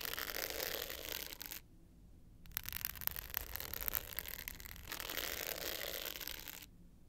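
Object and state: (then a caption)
Glitter hard-case clutch scratched with nails. Long pointed nails scratch the dark blue glitter face of a small, rectangular, hollow hard-case clutch with a gold metal frame, held tilted up. A bright, gritty rasp runs for over a second, pauses briefly, then gives way to a stretch of sharp, crackly ticks. A second run of steady scratching follows before it falls quiet.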